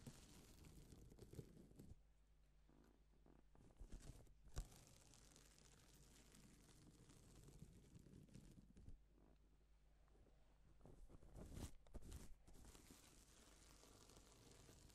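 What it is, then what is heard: Plastic sequin fabric being brushed. Gloved hands brush across a flat, reversible pink and silver plastic sequin fabric sheet, flipping the sequins over. A soft, continuous crinkling and scraping rustle rides over a low rumble, with sharper brushing bursts near 4 and 12 seconds.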